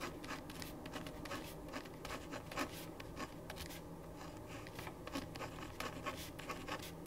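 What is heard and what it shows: A black-capped ballpoint pen held in the right hand writes across a thin printed paper sheet lying flat on a wooden desk. Continuous scratchy pen-on-paper strokes come as a steady run of short, bright scrapes over a low background hum.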